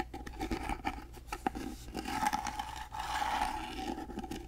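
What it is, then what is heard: Carved wooden box. Fingernails scratch and tap across the carved surface of a small, hollow, rectangular gold-painted wooden box held flat in both hands. Dry, continuous scraping mixes with short, light taps over a faint steady tone near 780 Hz. The scratching swells louder and denser in the middle before easing off.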